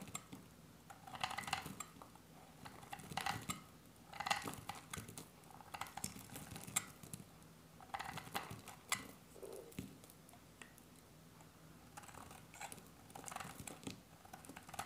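A hand-sized, solid, dry bar of green soap is held in one hand and shaved with a metal utility-knife blade. Quiet, crisp scraping and cutting strokes come in short bright bursts with little ring, and the shavings fall onto a pile.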